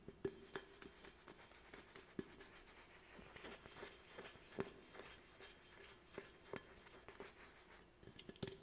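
An aluminum soda can is held sideways while a fingertip and nail tap and stroke its body. Quiet, close-up scratchy strokes are broken by a scattered series of sharp, hollow metallic taps. Each tap gives a brief low-mid ring and dies away almost at once.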